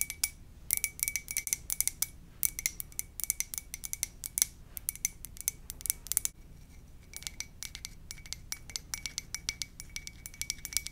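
Long dark nails tap quickly on a hollow, empty white ceramic coffee mug with a lips print, held in both hands. Dense bursts of bright, dry clicks land in uneven clusters, each dying away almost at once over a faint steady tone near 2.3 kHz. A brief drop just after six seconds is followed by lighter, more spaced taps.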